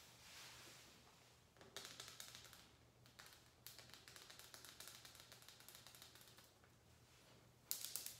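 A hand-sized shower squeegee with a white plastic blade holder, rubber blade and grey rubber-grip handle is held in one hand while long acrylic nails tap and scratch along the blade and head. After a soft, faint hiss, bursts of rapid, bright, clicky tapping and scratching come and go with brief quieter gaps. The clip ends with a sharper, louder flurry.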